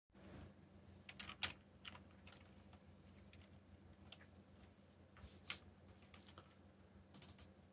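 Fingertips with short nails type on a backlit mechanical computer keyboard with black plastic keycaps bearing Korean and English legends. Sparse, bright, short key clicks come in small bursts over a steady low hum. Each click dies away almost instantly.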